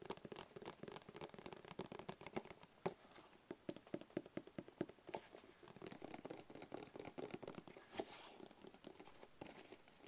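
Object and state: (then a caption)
Cardboard box tapped. A small, hollow, rigid black cardboard gift box is held close to the microphone and tapped with fingertips and short nails. The result is a continuous run of quick, dry, hollow taps and light scratching with a papery crinkle. Each tap dies away almost instantly.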